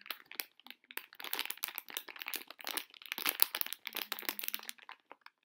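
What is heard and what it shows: Long fingernails crumple and rub a small, sealed Neon Star collectible blind bag made of metallized plastic foil, held up in both hands. A dense run of bright, crackling crinkles fills the clip with no low end, stopping dry with almost no ring.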